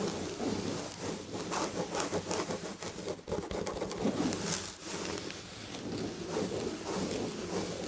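Long red nails scratch the textured red and gold upholstery on the back of a padded chair. The sound is a steady, dry scratching and rubbing with a bright hiss that swells and eases in short strokes over a soft, low padded body.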